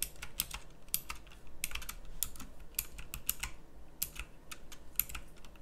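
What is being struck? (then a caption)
Plastic mechanical keyboard with round keycaps. Fast two-handed typing on a pink plastic mechanical typewriter-style keyboard with round plastic keycaps. It produces a rapid, irregular stream of sharp, bright clicks that die away almost instantly, over a low steady hum.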